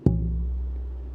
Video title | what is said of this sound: SLWG Meeting 8 18 22 V1 - Building a Guitar | i think that'll make a loud good sounding guitar provided i do everything else right